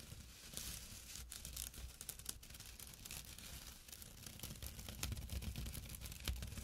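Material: Jute.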